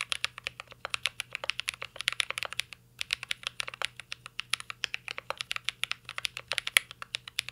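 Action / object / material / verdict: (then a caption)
tap / mechanical keyboard with metal case and plastic keycaps / metal, plastic / none. Two hands type steadily with their fingertips on a full-size mint-green Cyberboard R3 mechanical keyboard resting on a desk. The keyboard has a metal case, plastic keycaps and Holy Panda switches. The keystrokes are quick, dry, bright clacks in an uneven stream, with only a brief pause near the three-second mark.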